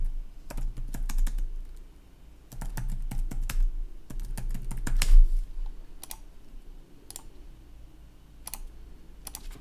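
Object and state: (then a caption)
Plastic laptop keyboard being typed on. Fingertips type rapid key taps on a black plastic gaming laptop keyboard with red backlit keys, resting on a wooden desk. Sharp, bright clicks come in quick bursts with short pauses between, then thin out to a few scattered taps. A steady low hum sits underneath throughout.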